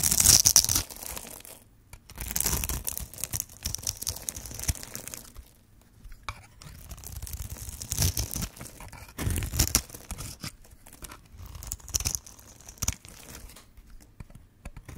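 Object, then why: Bar of soap cut with a metal blade. A metal blade carves and scrapes the end of a green and white striped solid bar of dry soap held in hand, breaking it into crumbly cubes. Bursts of bright, dry, crunchy scraping and tearing come at an irregular pace, separated by short quiet gaps.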